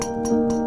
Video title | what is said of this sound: Guitar amp RATTLE / HUM / BUZZ issue solved :: Mesa Boogie RA 100 EL34 tubes : amp repair video | that's that same sound we kept hearing amplified